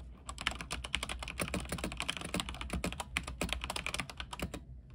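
Fingertips type steadily on a mechanical keyboard with white plastic keycaps on a silver frame with backlight. A dense run of quick, bright clacks rings only briefly, each with a soft low thump, over a faint low hum.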